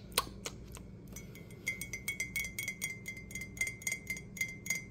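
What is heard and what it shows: Fingertips and nails tap quickly and unevenly on the outer wall of a hollow, apparently empty, dark green glazed ceramic coffee mug with a handle, held in the hands. The quiet, bright clicks come in fast irregular bursts over a low background hum. From about halfway through, a faint glassy ring near 2 kHz lingers behind the taps.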